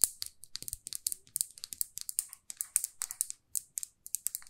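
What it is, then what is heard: Lacquered lipstick tube tapped with fingernails. Long fingernails tap a small, glossy red lacquered lipstick tube with a silver band, making about 27 quick, dry clicks in uneven bursts. The taps are bright and crisp with almost no low end, and each one dies away almost at once.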